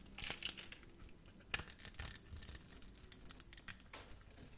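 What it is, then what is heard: Soap bar. A utility knife blade scrapes crunchy cubes off a solid, hand-sized, grid-scored red-pink soap bar. The sound is a quiet run of crisp, bright crunching and scratchy scraping bursts that stop dead with no ring.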